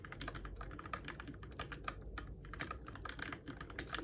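Fingertips type steadily on a Keychron K6 compact RGB-backlit mechanical keyboard with plastic keycaps on switches, in the dark. The fast, continuous stream of short, dry plastic clacks has a bright tick, each keystroke dying away almost at once, over a faint low rumble.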